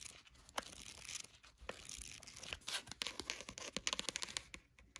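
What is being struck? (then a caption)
Paperback notebook with card cover. Long matte nails scratch and tap quickly across the textured card cover of a small paperback notebook, printed with cats and holding a solid paper block, as it lies on a blanket. The result is a quiet, bright, dry rasping scratch broken by many sharp, short taps, with almost no low end.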